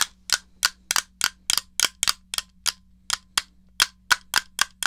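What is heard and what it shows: Fingertips with painted nails tap the hollow shell and press the buttons of a small, rectangular grey plastic NES game controller held in one hand. Seventeen sharp, bright clicks land at an uneven pace over a faint, steady low hum, each dying away almost instantly.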